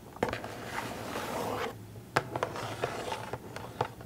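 Long acrylic nails scratch and tap a small printed cardboard Funko Pop box with a plastic window and a figure inside, held up close. A continuous dry scraping builds and fades over the first second and a half, then gives way to several sharp, brief taps with short scratches between them over a faint low hum.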